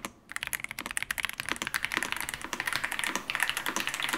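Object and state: Plastic mechanical keyboard being typed on.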